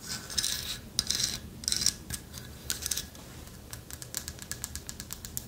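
Long nails tap and scratch a light wood carved owl figurine with a hollow lattice body. Bright scratchy rubbing bursts alternate with quick, irregular clicking taps, each dying away almost instantly.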